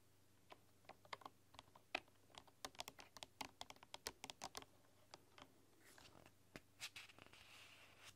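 Fingertips and long, dark-polished nails tap and type on a full-size keyboard with a hollow bamboo body and bamboo keycaps. The result is a quick run of dry, bright clicks that die away almost instantly, with a light scratchy rustle between taps near the end.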